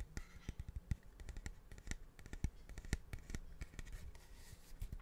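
A large, curved, hollow polished cattle horn is held close to the microphone and tapped and scratched along its surface with fingertips and nails. It gives a quick, irregular run of short, dull, low-pitched taps with no ring, mixed with faint scratching between them.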